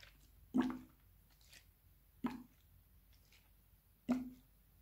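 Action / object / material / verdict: shake / plastic bottle with liquid / plastic / none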